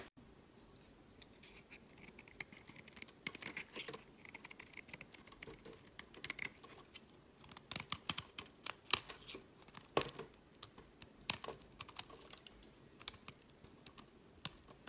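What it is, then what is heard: Bar of soap being shaved. A solid, cream-colored square bar of soap is held in hand while its corner and face are shaved with a metal utility blade, the curls falling onto a mat. Quiet, bright scraping and crisp cutting sounds come in short bursts, with sharper clicks where the blade catches, over a soft background hiss.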